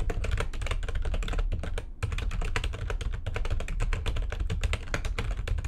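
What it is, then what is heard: Plastic computer keyboard. Very fast typing with long nails on the keys of a backlit plastic computer keyboard makes a dense, steady stream of sharp clicks over a deep, thumpy low end. There is a brief pause near the two-second mark before the rapid clicking resumes.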